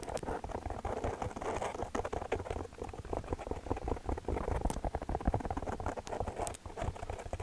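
Fingertips and long nails tap rapidly on a black foam windscreen covering a microphone. The result is a dense, continuous patter of soft, muffled taps with deep low thumps and very little high-end brightness.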